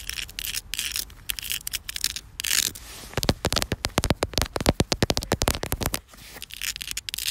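Long black fingernails rub and scratch across a grainy, solid outdoor concrete surface. The first half is a steady, gritty sanding hiss with bright highs; the second half turns into a quick run of sharp, dry scratches and crackles before the rubbing returns.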